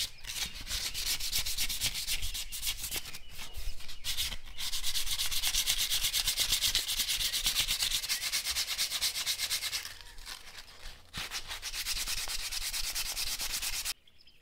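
A folded sheet of sandpaper is rubbed back and forth over a small, hand-carved, solid robinia (black locust) wooden spoon held in the hands. The result is a steady, rapid, raspy scratching with a bright hiss and a low rumble underneath. It briefly softens around the 10-second mark, picks up again, and then stops abruptly near the end.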